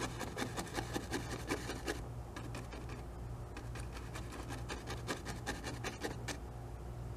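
A small fan brush taps and strokes tree shapes into wet oil paint on a stretched canvas resting on an easel. It makes a quick, uneven run of soft, scratchy dabs, roughly two or three per second, with a brief quieter stretch in the middle. A steady low hum sits underneath throughout.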